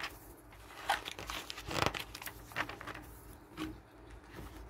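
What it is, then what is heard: Glossy paper catalog. Pages of a glossy paper garden catalog resting on a wooden table are turned by hand and rubbed flat with the fingers. Soft, bright crinkling and swishing rustles run throughout, broken by a few sharper, crisp page flicks at irregular moments.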